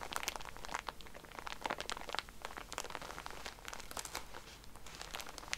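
A plastic-wrapped pack of cotton pads is scratched with nails while lying flat, then squeezed by hands. Dense, quick crinkling and crackling fills the clip, with sharp bright ticks over a soft low hum.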